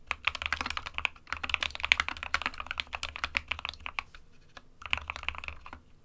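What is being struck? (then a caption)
Plastic mechanical keyboard. Fingertips of both hands type continuously on an SK61, a small 60% mechanical keyboard with a plastic case and plastic keycaps, hollow with switches inside. The result is a rapid stream of bright, sharp clacks with very little low end and almost no ring. There are brief pauses near 1.3 seconds and between about 4 and 4.8 seconds.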